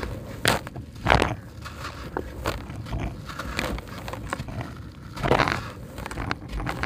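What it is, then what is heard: Crumbly dry concrete brick. A dry, porous, solid grey concrete brick is held and broken into chunks by hand, with fingers squeezing and crumbling the pieces over a tub of concrete grit. Gritty crunches and crackles run throughout, with a few louder, sharper crumbling bursts over a low, rough rumble. The brick is crumbly.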